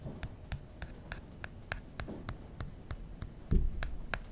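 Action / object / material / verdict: tap / aluminum back of a phone / aluminum / none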